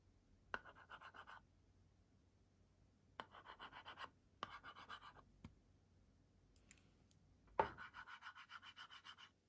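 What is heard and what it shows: A pink plastic stylus scribbles and scratches rapidly across the screen of a kids' LCD writing tablet with a white and pink plastic frame, leaving colored marks. Four bursts of fast, rhythmic scratching are heard, each opening with a sharp tap of the stylus, plus a few isolated taps in between. The texture is dry and mid-to-high in tone over a quiet background.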